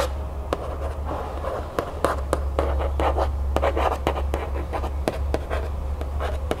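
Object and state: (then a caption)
Cardboard cereal box. Long nails tap and scratch the printed cardboard of a cereal box held upright in the hands, with its back panel facing forward. Sharp, dry taps cut through soft, papery scratching bursts at an uneven pace, over a steady low hum.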